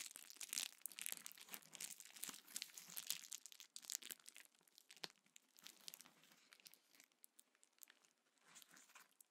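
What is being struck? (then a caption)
Plastic bubble wrap sheet. A small sheet of clear plastic bubble wrap is held in both hands, squeezed and crinkled, with bubbles popped by the fingertips. Dense, bright crinkling and crackling mixes with sharp little pops and has almost no low end. It is busiest and loudest in the first four seconds, then thins into softer, scattered crinkles and pops.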